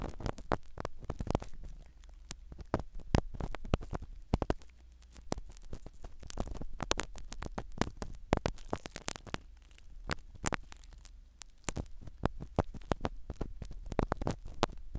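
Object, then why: Foam-covered microphone in a silicone dummy ear. A black spiral ear pick scratches the foam cover of a small black microphone set inside a silicone dummy ear. The result is a dense stream of close, dry scratching and crackling clicks over a low rumble.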